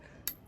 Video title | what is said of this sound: PANDAYAN NG ITAK SA AURORA | yung kanyang tunog ng itak niya. May lagiting